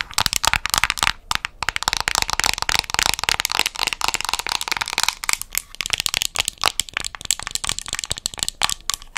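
Long nails tap and scratch across the top and edge of a small round plastic cosmetic jar with a white and brown lid and an orange base, held in both hands. Rapid, dry, bright clicks mix with crackly scratching rasps that stop almost instantly, with very little low end.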